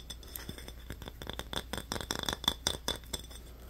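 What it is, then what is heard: Glass bottle tapped with fingernails. Fingernails rapidly tap and scratch a small, apparently empty glass Yoo-hoo chocolate-drink bottle with a paper label, held in both hands. Quick, dry clicks and bright glassy clinks with very short ring come in an uneven flurry, growing busier and louder toward the middle before settling over a faint low hum.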